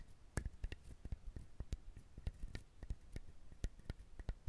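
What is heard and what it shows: Fingernails rapidly scratch and tap the hard, fibrous shell of a whole brown husked coconut close to the mic. The result is a fast series of short, dry clicks with a deep low thump under each one and some bright crackle on the strongest hits. The loudness varies from one hit to the next, and the background stays quiet between them.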